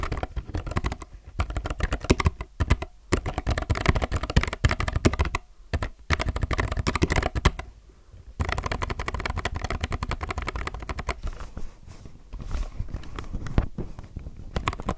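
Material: Plastic.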